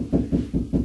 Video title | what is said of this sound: Another grab bar installation solution...Part 3 | that low noise means this in this wall cavity, there's nothing here